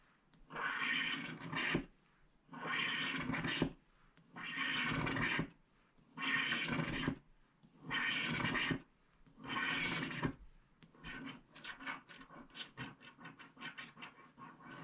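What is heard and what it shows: A wooden stylus scratches and rubs a small, flat, solid scratch-art card (black coating over printed paper board) held down by fingertips, working along its left edge and removing the black layer. Six separate, steady, raspy strokes of about a second each are heard with short pauses between them. These are followed by a quicker run of short, bright scratching strokes.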